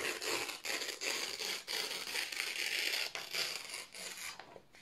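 Both hands slowly tear a strip off thin white printed office paper sheets. The ripping comes as a series of crisp, bright, rasping bursts separated by brief pauses, with almost no low end. The tearing fades quieter at the very end.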